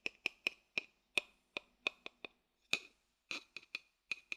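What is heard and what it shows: A thin wooden stick taps and clicks on the base and rim of an empty, hollow wooden bowl as the bowl is turned over in the hand. Fifteen sharp, dry clicks land at an uneven pace, each bright and woody with a clear tone near 2.5 kHz that dies away almost instantly. A few strikes sound slightly rougher and more scraped.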